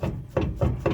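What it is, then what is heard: Loose, worn driveshaft universal joint. A worn steel universal joint on a driveshaft clunks four times as the driveshaft is grabbed and rotated by hand, giving dull, low-pitched knocks with little ring. The clunks come from excessive play in the loose, worn U-joint.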